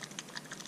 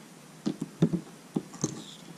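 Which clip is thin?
The first.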